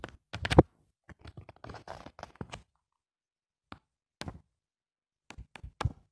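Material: Paper.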